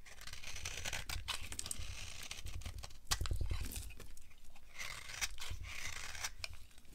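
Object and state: Dry bar soap being carved.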